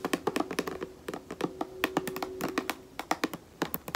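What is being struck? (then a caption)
Plastic lotion bottle. A white plastic lotion bottle is held horizontally while fingertips and long nails tap rapidly along its side. The result is a quick run of short, hollow, hollow-toned taps with a faint mid-pitched ring, mixed with bright clicks from the nails, each dying away almost at once.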